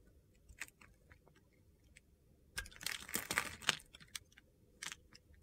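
A utility-knife blade carves crunchy pieces off a hand-sized, solid mint-green soap bar. A few scattered, crisp ticks lead into a dense burst of bright, gritty crunching and scraping midway through, then a few more sharp clicks as the cutting trails off.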